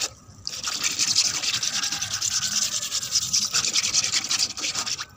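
Long red acrylic nails scratch and rub across a flat, rough grey cement floor with a wet patch of water on it. After a brief quiet start, a steady run of bright, hissy, rasping scrape strokes continues, almost entirely high-pitched with little low end, fading out at the end.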